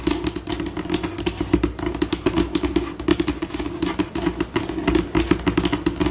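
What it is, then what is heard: Laminate tabletop scratched and tapped with fingernails. Long pink acrylic nails scratch and tap across a flat, solid white laminate tabletop at a changing pace, slow then fast. Dry, clicky taps and scurrying scratches come in dense bursts with a bright edge. Each hit stops almost at once, over a steady midrange hum around 330 Hz.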